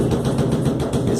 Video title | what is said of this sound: MÁQUINA DE LAVAR fazendo BARULHO durante a CENTRIFUGAÇÃO ! PARTE 1 | Na hora da centrifugação, ela começava a fazer um barulho batendo.